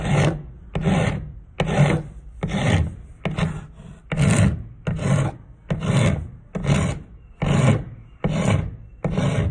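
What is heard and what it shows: A thin, solid turned wooden spindle, held by hand against a concrete floor, is rubbed back and forth with a steel half-round rasp, and sawdust piles up. About thirteen separate rasping strokes come at a steady, slightly uneven pace. Each is a coarse, scratchy grind with a heavy low body and a faint bright hiss on top.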